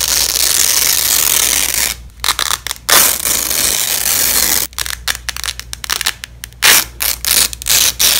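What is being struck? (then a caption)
Nylon hook-and-loop tape on fabric. Gloved hands peel joined yellow and black nylon hook-and-loop (Velcro) strips apart on fabric. A long, bright, crackling rip runs for about two seconds, followed by short stuttering tears, a second sustained rip, and then a run of choppy, ratchet-like bursts of ripping.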